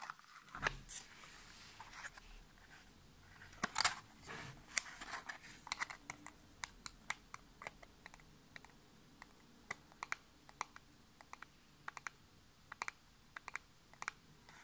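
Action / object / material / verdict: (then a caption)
tap / small printed cardboard box / cardboard / none. Natural nails tap quickly on the faces and edges of a small, hollow, printed cardboard nail polish box held upright in both hands. A long series of sharp, dry, bright clicks and taps stands out against a quiet background, with a few brief scratchy rustles early on. Each tap stops at once with no ring.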